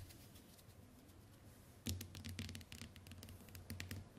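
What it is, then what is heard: Glass smartphone screen tapped with fingernails. Long white nails tap rapidly on the glass screen of a small, flat smartphone resting on a wooden table, in a typing-like rhythm. After nearly two seconds of quiet low background, a quick run of short, bright clicks begins with a soft low thump beneath them, each tap dying away almost instantly.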